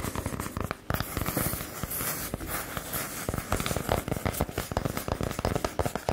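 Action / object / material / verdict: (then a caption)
tap / small round wooden coaster / wood / none. A small, solid, palm-sized round wooden disc coaster is held in one hand and tapped and scratched with the long acrylic nails of the other. Quick, dry taps with very little ring are heard over a continuous rough scratching, mostly low in tone with little high-end brightness.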